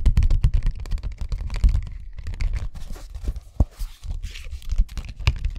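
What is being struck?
Thin plastic document folder.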